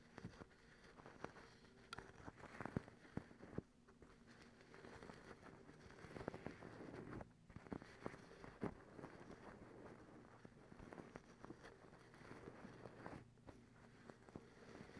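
Long acrylic nail tips scratch a white cotton terry towel bunched up in front of the camera. A quiet, continuous rough rustling with a low, muffled body rises and falls in waves, broken by scattered sharp little clicks and crackles from the nails.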